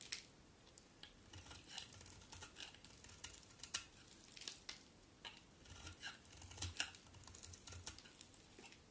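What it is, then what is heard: Bar of soap being shaved. A palm-sized solid white bar of soap, held in one hand, is shaved and scraped with a utility knife blade held in the other, long-nailed hand, and the flakes fall onto a white surface. The clip is quiet: soft, bright, crisp scraping and shaving strokes come in short, irregular bursts, with faint low thumps under some of them.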